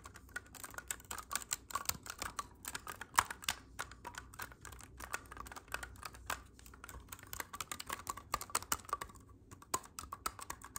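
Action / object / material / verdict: tap / clarinet with metal keys / metal / none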